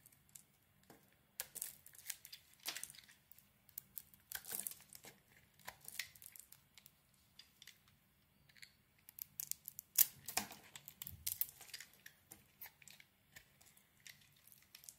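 A palm-sized, solid yellow oval bar of soap is held in the hand and carved with a utility knife blade. The blade makes quiet, crisp scraping and shaving sounds in an irregular run of short, bright bursts, with a few louder cuts near the middle. A faint low hum sits underneath.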